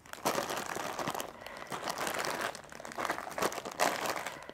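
Fingertips and nails of both hands tap and scratch a single full, sealed red plastic-film packet of Indomie Tengkleng instant noodles holding a dry noodle brick. The wrapper gives off bright, crackly crinkling in swelling bursts with short, dry taps scattered throughout.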